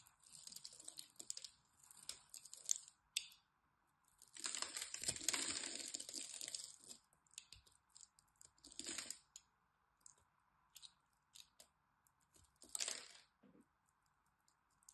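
A small black utility blade scrapes and cuts a grid pattern into the surface of a solid rectangular bar of green soap held in the hands, flaking off chips. Bright, crisp scraping and crunching bursts come in an irregular rhythm, with one longer continuous scrape in the middle, over a faint steady hiss.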